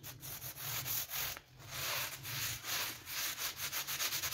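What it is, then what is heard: Vinyl coil door mat being scrubbed. A small blue brush held in a gloved hand rapidly scrubs a dirty pink PVC coil door mat with a flower pattern. The result is a bright, hissing bristle scrub in quick back-and-forth strokes that speed up into a fast, steady rhythm toward the end.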